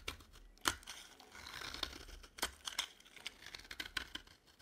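A dry, cream-colored solid bar of soap held in the hand is shaved and scraped with a metal utility knife blade. Quiet, bright, crisp scraping and crackly tearing sounds come in short bursts, with sharp flakes of sound standing out.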